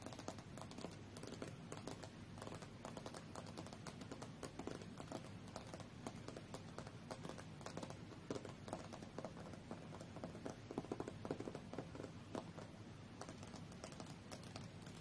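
Long fingernails tap rapidly on the solid glass screen of a tablet lying face-up on a fur rug. The result is a quiet, steady stream of short, dry clicks that die away almost instantly.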